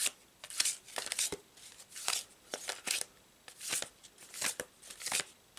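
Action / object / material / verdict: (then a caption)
shake / paper tarot card deck / paper card / none. A full deck of stiff paper tarot cards is continuously overhand-shuffled in both hands above a fabric tablecloth. The card edges slide and slap against each other in quick, bright, papery bursts with crisp clicks and almost no low end. Each burst stops dead with no ring, leaving short quiet gaps between the shuffles.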